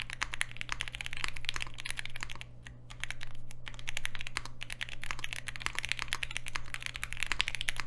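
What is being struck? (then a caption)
Mechanical keyboard with aluminium case and plastic keycaps. A Polaris 60% mechanical keyboard with Alpaca switches, a green aluminium case and black plastic keycaps rests on a desk mat and is typed on continuously with the fingertips of both hands. Fast, short, bright clacks with no ring run over a steady low hum, easing briefly around the middle before the typing picks back up.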